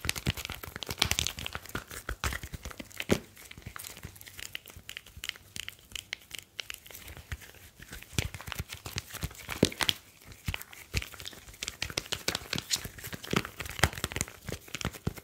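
A smartphone with a glass screen and metal back is held and turned in both hands while fingertips rub and tap it. The result is a dense, quiet stream of sharp, bright clicks and taps over a soft, crinkly rubbing hiss, with a few louder taps standing out.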